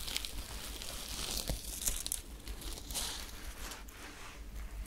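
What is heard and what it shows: Long nails scratch and rub the surface of a glittery sequined top with a white ruffled fabric part, held up in the hands. The sound is a steady crinkly, tearing-like rustle with bright, high sparkle and a low rumble underneath.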